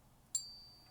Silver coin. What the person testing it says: you can hear there's a nice ping there